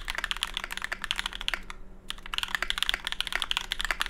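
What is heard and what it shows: Continuous typing with the fingertips of both hands on a small 65% mechanical keyboard with a Tofu65 case, aluminium plate, GMK ABS keycaps and lubed Cobalt switches, resting on a deskmat. It makes a steady run of short, crisp, bright clacks with almost no ring, broken by a brief pause near the two-second mark before the typing resumes.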